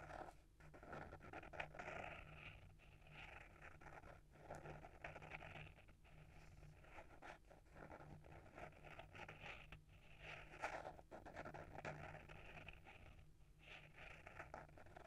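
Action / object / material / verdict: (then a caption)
scrape / hardcover book with paper-wrapped board cover / paper, cardboard / none. Short fingernails scratch the front cover of a small, solid hardcover book, "A Little Bit of Dreams," with a paper-wrapped board cover, held in one hand. The result is a quiet, continuous, dry scratching with rapid, brushy strokes and a faint steady low hum underneath, swelling and fading slightly through the clip.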